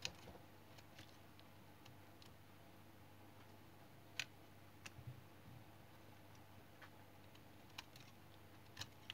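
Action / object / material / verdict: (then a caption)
scrape / small piece of tar soap cut with a knife blade / soap / none. A small, solid piece of brown tar soap held in the hand has its edge scraped and cut with a utility knife blade, and the shavings fall onto a pile. Sharp, crisp clicks and brief bright scrapes come at irregular intervals over a faint, steady low hum. Each snap dies away almost instantly.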